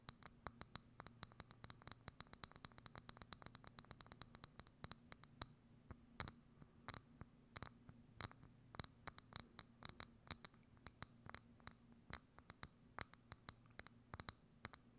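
Long acrylic nails tap and scratch a hollow, thin, clear transparent plastic dome lid placed over a microphone. Dozens of sharp, crisp clicks come in a quick patter for the first five seconds, then space out into slower, more deliberate taps, each carrying a bright, high plastic tick that dies almost instantly. A faint steady low hum runs underneath the whole clip.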